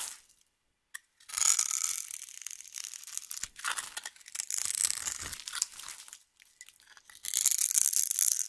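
A metal knife blade scrapes and cuts slices off a small, dry, crumbly rectangular bar of yellow soap with white stripes held in one hand, and the flakes fall onto a pile of soap shavings. After a near-silent start with a faint tick, bright, dry scraping and crunching come in rough, uneven bursts with short pauses between strokes, with almost no low end.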